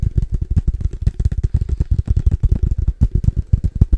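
Fast fingertip tapping on a padel ball case makes a rapid, steady run of dull, low thuds. Each tap is deep and boomy with almost no brightness, and it dies away at once without ringing.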